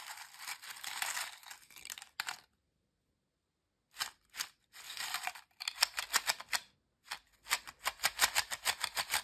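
A pile of thin, dry, crisp ridged potato chips in a glass bowl is stirred and squeezed by fingertips and hands, and the bowl may also be touched. Bright, dense crackling crunches come in bursts, with a pause of about a second and a half. They then give way to sharper, separate crunches that stop almost instantly.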